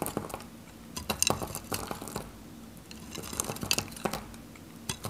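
A solid, faceted bar of dry yellow soap, held in the fingers, is cut into cubes with a metal craft knife. Bursts of crisp, dry scraping and crunching come in clusters with bright, high clicks, and each stops almost instantly with no ring.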